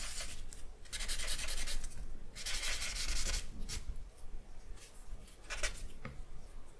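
A charcoal stick is stroked and rubbed over a flat sheet of drawing paper lying on a wooden desk. Long, bright, hissing rubbing strokes alternate with shorter, quicker swipes and brief pauses. A soft low rumble sits underneath throughout.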